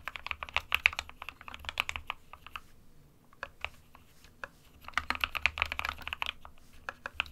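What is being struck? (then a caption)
Plastic mechanical keyboard. Fingertips of both hands type on an SK61 compact 60% plastic mechanical keyboard with white and grey keycaps. Rapid, bright, clacky keystrokes come in two busy bursts separated by a quieter stretch of scattered taps, each click short and dry with almost no ring.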